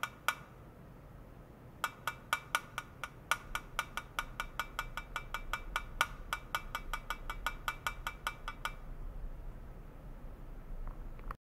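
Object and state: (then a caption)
Aluminum foil pouch. A flat silver aluminum foil pouch resting on white foam netting, with a sensor clip attached, is tapped repeatedly on its surface with the tip of a long white plastic rod. A quick series of short, bright clicks with a ringing tone around 1.5 kHz is heard over a low, steady background hum. The taps come two at the start, then in a steady run, and fade to quiet near the end.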